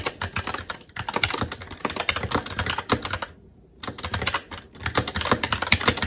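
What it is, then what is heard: Mechanical keyboard with plastic keycaps on a metal plate. Both hands' fingertips type rapidly on a SteelSeries Apex 7 TKL mechanical keyboard with red linear switches, black plastic keycaps and an aluminum plate. A dense run of short, bright clacks with a low thock underneath is heard, with a brief pause near the middle and a shorter one toward the end before the typing resumes.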